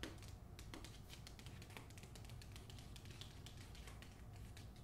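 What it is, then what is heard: Hardcover book with paper jacket. Long nails tap and scratch the back cover of a hardcover copy of "The Hacienda" wrapped in a paper dust jacket. Quick, crisp, bright taps blend with dry scratching over a steady low rumble, all at a soft, close level.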